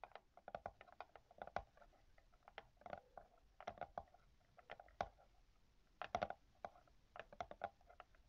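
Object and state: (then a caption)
Scratching on a book's paper endpaper. Long yellow-painted nails scratch the yellow paper endpaper of an open hardcover book while a small black pen- or brush-like tool is held against the page. The result is a rapid, quiet patter of dry scratches and ticks, with sharp clicky transients over a soft mid-pitched papery rasp.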